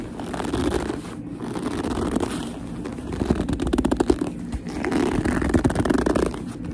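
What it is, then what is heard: Leather handbag being gripped and scratched. Long nails grip, tap and scratch the smooth front of a black leather handbag. Squeaky rubbing and gripping sounds swell and fade in waves, with soft clicks and scratchy textures mostly in the low-mid range.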